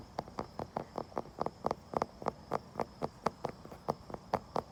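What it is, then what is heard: Wooden surface tapped. A wooden surface is tapped and scratched outdoors, with about 19 short, dry, mid-pitched taps in a fairly steady rhythm. Each tap dies away almost at once over a faint, steady high tone in the background.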